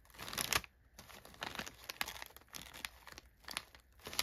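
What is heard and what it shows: Brown kraft packing paper crumpled inside an open cardboard box is pressed, rubbed and scratched by an open hand with short nails, making it crinkle. Bright, dry crackling bursts come and go with short quiet gaps, the loudest near the start and again at the very end.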